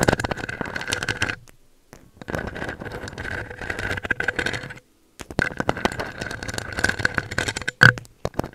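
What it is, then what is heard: Metal microphone grille. Long acrylic nails on both hands scratch and tap the round metal mesh grille of a pink USB microphone. Dense, close-up rasping scrapes and rapid clicky taps come in three bursts separated by brief silences, with a steady mid-pitched ringing tone under the scratching and a low hum. Near the end a single sharper, louder tap stands out.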